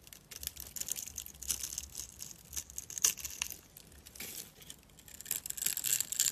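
A steel utility knife blade scrapes a dry, solid mint-green rectangular bar of soap with a scored grid, held in the hand. The result is a series of bright, crisp crunching and scratching bursts, with almost no low end and pauses between strokes.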